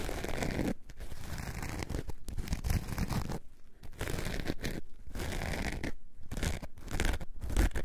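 Long nails scratch a coarse orange foam sponge along its edges and faces, making a dense, rough, low-heavy scratching and crinkling texture. The scratching comes in bursts separated by several brief pauses.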